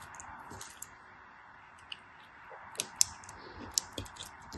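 A small, solid, translucent pink glycerin soap bar, held in fingers with long white nails, is shaved and scraped with a black craft knife blade as shavings fall off. Quiet, bright scraping is broken by six short, crisp clicks that stand out sharply and fade almost instantly.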